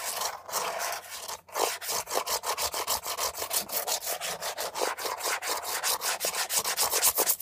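Long nails rub and scratch fast across the textured surface of a beige, hollow plastic air freshener dispenser housing with leaf cutouts, held upright. About thirty quick, dry, bright scratching strokes follow one another in a steady rhythm, with a brief pause near the start. The strokes grow slightly louder toward the end.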